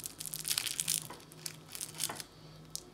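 A fork presses into a piece of baklava, and its phyllo pastry top gives a series of bright, dry crunching crackles. The verdict is that it came out very crisp and good, though not as good as hand-rolled pastry.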